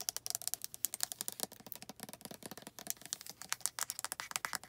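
Long red nails tap and scratch a hand-sized, hollow white plastic lotion bottle across its body, label and cap. A rapid, uneven run of short, dry, bright clicks and scrapes comes through with almost no low end and no ring after each hit.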